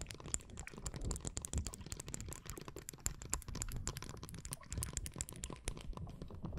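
Long blue nails tap and scratch along the long, glossy, iridescent plastic handle of a mermaid-style makeup brush held horizontally in both hands. The result is a rapid, dense stream of short, dry clicks and scratches with bright edges over a soft low rumble, each tap dying away almost instantly.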